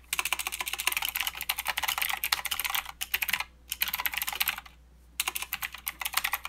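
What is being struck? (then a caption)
Plastic mechanical keyboard. Two hands type with their fingertips on a full-size Redragon K552 mechanical keyboard with blue clicky switches, white, grey and green plastic keycaps and a metal-framed body. Rapid bursts of sharp, bright clicks and clacks come in quick runs, broken by two short pauses before the typing resumes.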